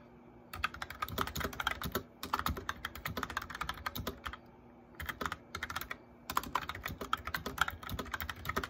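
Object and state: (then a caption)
Plastic mechanical keyboard. Fingertips with short nails type steadily on a cheap white and grey mechanical keyboard with plastic keycaps and hollow-sounding switches. Quick, sharp, clacky key presses come in bursts, separated by a few short pauses, over a faint low hum.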